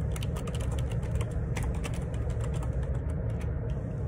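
Fingertips type steadily on the plastic keycaps of a black Perixx Periboard 612 wireless Bluetooth split ergonomic keyboard resting on a grey table. A continuous run of short, bright key clicks sits over a strong, steady low rumble.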